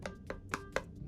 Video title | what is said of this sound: How To Make A Spirited Away Clay Dish 👺 (do NOT BAKE you clay) | it's inflated and fluffed up and um it sounds Hollow if you knock on it